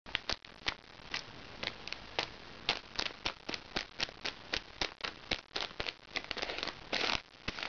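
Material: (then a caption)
Plastic. Fingertips and painted nails scratch and squeeze the crinkly plastic surface of a flat, soft plastic-wrapped package held upright on a lap. Sharp, bright crinkles and crackles come in quick, irregular bursts over a steady soft hiss, each snapping off almost at once. A longer, denser rustle swells near the end.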